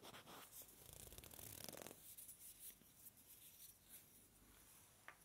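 Two small, solid, light-colored wooden blocks, each palm-sized, are held in both hands close to a binaural microphone and rubbed and scratched against each other with the fingertips. A dense, bright, raspy rubbing swells through the first two seconds, then thins into softer, uneven scratches with a brief sharp click near the end.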